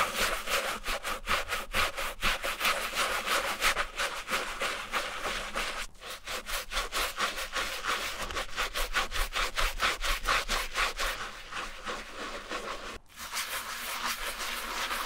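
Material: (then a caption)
Canvas. A wooden-handled bristle brush scrubs back and forth over the soap-foamed canvas upper and toe of a striped Vans slip-on sneaker, its hollow shoe held in hand. Steady, bright, scratchy brushing strokes repeat at a quick, uneven rhythm, with brief breaks near 6 and 13 seconds.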